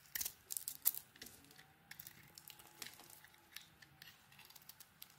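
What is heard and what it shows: A solid white soap bar with a pink coating is shaved and carved with a metal blade, sending chunks falling away. Quiet, crisp, bright scraping and crackling come in irregular bursts, louder near the start, with short soft taps from the falling pieces.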